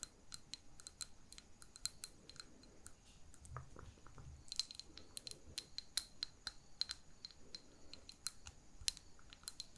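Long painted fingernails tap quickly and repeatedly on a small glass jar holding a lit wax candle, partly filled with solid wax, with a ribbon tied at its neck. Each tap is a quiet, sharp, bright click with a brief high glassy ring that dies away almost at once. Soft low rumbles and faint murmurs sit underneath.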